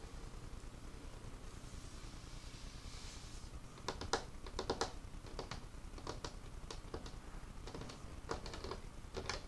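Fingertips and nails tap and scratch the surface of an old, solid, dark, worn wooden craft table with paint spots. A soft, hissy scratching over a quiet low rumble opens the clip, followed from about four seconds in by irregular clusters of short, crisp taps that die away almost instantly.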